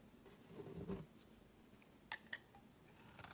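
A solid purple soap bar is set down on a woven mat with a soft, low scuffing thud. Then, held in the hand, its edge is shaved with a utility knife blade, giving two crisp, bright clicks followed by faint scraping.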